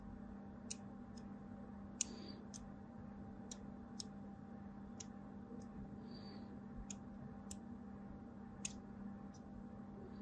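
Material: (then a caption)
Soap. A small blade cuts lines across the top edge of a solid white embossed bar of soap held in the hand, producing a series of short, sharp, bright clicks and ticks. A couple of brief scratchy scrapes mix in, all over a steady low hum.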